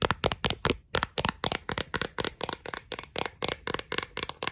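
Long acrylic nails tap and scratch the flat face and rim of a thin, clear, round plastic Pringles lid held between the hands. About twenty quick, bright, crisp clicks come in an uneven, rapid run, each stopping almost instantly, with light scratchy texture between them.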